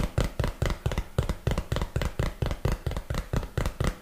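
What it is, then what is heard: Empty cardboard box. A small, hollow, printed cardboard box, apparently empty, is held in one hand close to the mic and tapped and knocked with the fingertips and nails of the other hand. About 20 dull, low thumps come in a quick, uneven rhythm, each one dying away almost at once with no ring.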